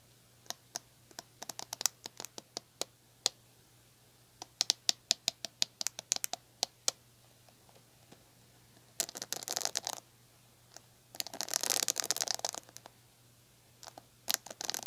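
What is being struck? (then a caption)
Plastic paddle hair brush bristles. Fingertips and long nails pluck and run across the plastic ball-tipped bristles of a red plastic paddle hair brush. Dozens of sharp, bright, quickly fading clicks tick out one after another, broken by two denser scratchy bursts as the nails sweep across the bristles.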